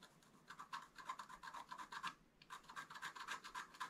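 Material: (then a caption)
Waxed paper. A wooden stylus scratches fine lines into the upper right ornament of a wax-coated scratch-art paper card lying flat on a table. Quiet, dry, raspy strokes repeat about four times a second, each with a bright hiss and a scraping tone near 1 kHz. There is a brief pause just past the two-second mark before the scratching resumes.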